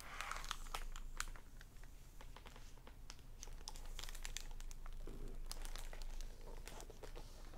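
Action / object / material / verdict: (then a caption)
tap / hardback book with plastic-covered dust jacket / plastic film / none. Fingertips and nails tap on and crinkle the plastic library dust-jacket cover and edges of a solid hardback novel, "Shadow Dance," lying on a wooden table. Crisp plastic crinkles mix with short, dry taps in an uneven stream, over a steady low hum.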